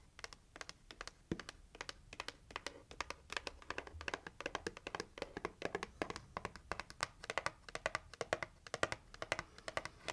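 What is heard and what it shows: Long acrylic nails tap rapidly on the lid of a hollow, pink printed, heart-shaped cardboard gift box. The result is a quiet, steady stream of crisp, dry clicks with a hollow mid-range tone and a bright edge, each dying away almost instantly.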